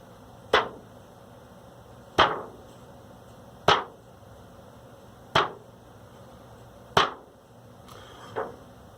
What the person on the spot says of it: I mean, to me, it just sounds like dead plastic that does have a little bit of natural tension from being in the rim